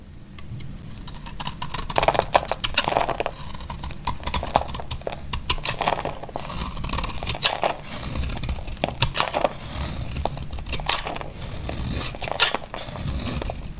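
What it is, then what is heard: Dry bar soap being scraped. A solid, hand-sized dry green bar of soap, held in a hand with long pink nails, is shaved and scraped with a utility knife blade, its shavings piling up on denim. The blade gives a steady run of dry, crackly scraping strokes with bright, crisp edges over a soft low rumble, each stroke cutting off quickly.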